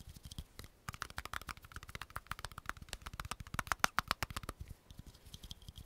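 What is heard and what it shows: A small, hollow, round green plastic cream jar with a patterned lid is tapped and scratched quickly on its lid and sides with long fingernails. Rapid, irregular, dry clicks with almost no ring follow one another densely, mixing brief hollow knocks with a bright scratchy edge. A few sharper, louder taps around the middle carry a clearer pitch near 1.4 kHz.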